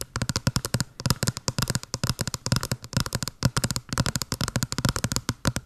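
Long blue nails tap and scratch fast on a small, hollow white cardboard box with a blue pattern, held upright by the mic. The result is a rapid, steady stream of short, dry clicks with a hollow low thump under each tap. The taps stop almost at once, with no ring.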